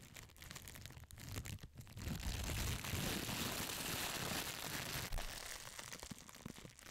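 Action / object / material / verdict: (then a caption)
scrape / thin plastic film / plastic / none. Clear, thin plastic wrap is crumpled, crinkled and crushed with fingers and long nails right beside the mic. A dense, continuous crackle of bright snaps over a low rustling rumble swells louder in the middle, then eases off toward the end.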